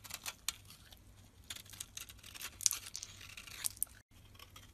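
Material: Soap.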